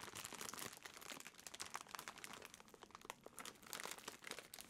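A clear, thin plastic bread bag partly holding a loaf is squeezed and crinkled in the hands close up. It makes a dense, continuous crumpling crackle with bright, sharp crinkles and almost no low end, lasting throughout.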